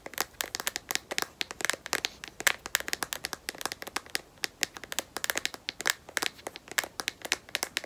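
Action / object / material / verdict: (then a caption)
tap / smartphone in a rubberized plastic case / plastic / none. Long nails tap and scratch quickly across the back of a smartphone in a solid black matte rubberized plastic case. The result is a dense stream of sharp, dry, bright clicks with light scratchy friction between them, no low end and no ringing.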